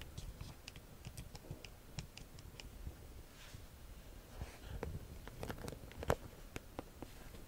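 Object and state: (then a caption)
Faux leather handbag, hollow. Long nails tap on the front of a small, hollow yellow embossed faux leather flap bag, giving a quiet, irregular run of short, dry clicks with bright tips over a soft low rumble. A faint brushing swish runs through the middle, and one sharper tap stands out near the end.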